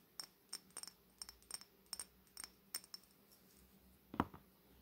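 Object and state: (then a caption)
Glass cosmetic bottle. A long, hollow Fenty Beauty glass cosmetic bottle with a metallic bronze coating, held horizontally, is tapped along its length with long natural fingernails. About twelve slow, separate taps give short, bright clicks with a light glassy tick and almost no ring, and a fuller, heavier tap lands near the end.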